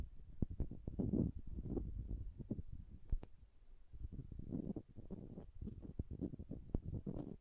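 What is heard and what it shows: Long painted nails tap and scratch the glass body of a small green glass serum bottle with a silver collar and a white rubber dropper bulb, held in one hand. The result is a quiet, dense stream of soft, dull taps and scratchy rustling, mostly low and muffled, broken by a few sharper clicks that die away almost instantly.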